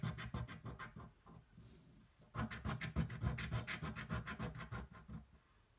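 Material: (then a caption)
Card. The edge of a metal coin scratches the latex coating off a thin, flat cardboard scratch-off lottery ticket held flat on a table by one hand. Around twenty quick, rhythmic, rasping strokes are heard, with a quieter, softer stretch in the middle before the strokes pick back up. The strokes have a dry, low-weighted scrape that fades out at the end.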